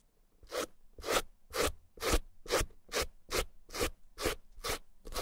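A white plastic suede brush with stiff bristles and a green handle is stroked over the nap of a small, hollow, dry red suede Gucci bamboo-handle mini handbag. Ten steady, rhythmic brushing strokes each give a dry, bristly scratch that runs up into a bright hiss, with a hollow body around 500 Hz and a soft low thump.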